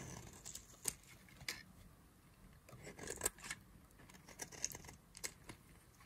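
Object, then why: Bar of soap cut with a knife. A knife blade carves a solid yellow-and-white striped bar of dry soap held in the fingers, and flakes fall off. A series of crisp, short scraping cuts sounds over a quiet background, each bright and dry with almost no ring.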